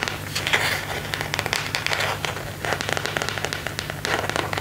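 Fingertips and nails scratch and rub the back of a thin, hollow, empty phone case made of semi-transparent plastic with a white marble and leaf print, held in both hands. The result is a dense, bright, crackly scratching with quick tapping clicks over a low steady hum.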